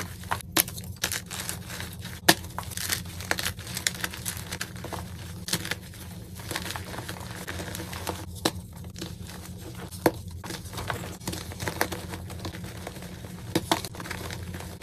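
Bare fingertips crush, squeeze and crumble several partly broken solid white gym chalk blocks into powder in a bowl of chalk powder. Dry crinkling and crackling crunches run throughout, broken by sharp bright snaps as pieces give way, over a steady low hum. The blocks break down into powder.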